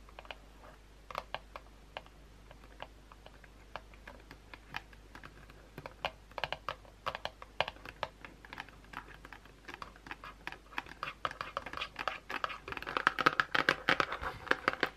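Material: Cardboard.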